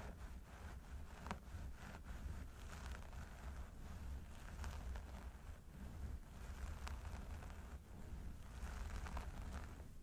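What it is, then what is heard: Synthetic hair on a mannequin head being scratched. Fingertips of both hands claw and scratch through the long blonde synthetic hair on the sides of a mannequin training head. The result is a continuous, quiet rustling and scratching with brief brighter scrapes over a steady low rumble.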